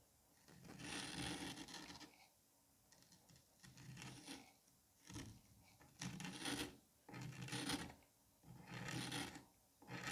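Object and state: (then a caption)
Kinetic sand mound. A metal curette scrapes and gouges small grooves into the surface of a palm-sized solid dome of green kinetic sand. Repeated gritty, rasping strokes with a bright hiss and a low granular rustle come in bursts of about a second, separated by brief quiet pauses.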